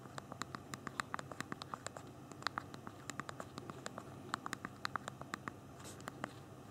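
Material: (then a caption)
Plastic. Thumbs rapidly tap the small plastic keys of a handheld BlackBerry phone's backlit physical keyboard while typing. Dozens of quiet, crisp clicks with a bright edge land in quick, uneven bursts, each one stopping almost instantly over a faint low hiss.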